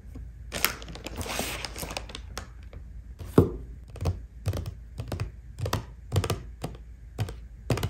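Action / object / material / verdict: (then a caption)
tap / small closed cardboard box with a compact inside / cardboard / none. Long painted fingernails tap repeatedly on the top face of a small, flat, black printed cardboard box of Bobbi Brown highlighting powder, closed and likely holding the compact, as it lies on a white table. The taps are quick and crisp, each a short, hollow, low thunk with a bright clicky edge, over a brief stretch of denser scratchy tapping near the start.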